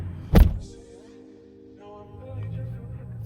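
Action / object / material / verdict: strike / steel pickup truck door / steel / solid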